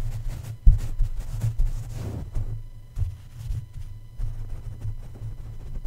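Plush toy feet press and tap on top of the hollow black metal mesh grille of a red condenser microphone. The result is a series of soft, muffled thumps and low rumbling rubs with almost all of the energy in the deep low end and no ring after each touch.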